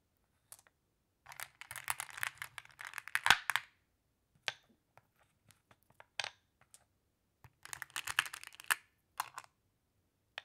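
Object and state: Glass pebbles clicking together.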